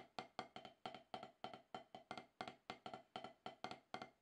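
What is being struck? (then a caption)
Rubber practice pad struck with wooden sticks. Two wooden drumsticks tap a solid, octagonal HQ practice pad with a dark rubber surface, landing 22 quick strokes in an uneven rhythm of singles and doubles. Each stroke is a dry, clicky tap with a woody mid-range tone around 740 Hz and almost no ring.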